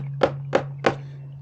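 A fist bangs three times on the upper part of a plastic water softener brine tank, giving short, dull, solid thunks over a steady low hum. The solid sound there shows where a salt bridge sits in the tank.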